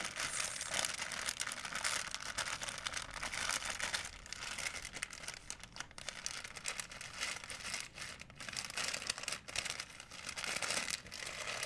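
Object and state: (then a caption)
Plastic shopping bag crinkling. A white plastic shopping bag, folded small, is squeezed and refolded by fingertips. It makes a steady, dense, bright crinkling, mostly in the high range with little low end, dipping slightly in loudness midway before building again.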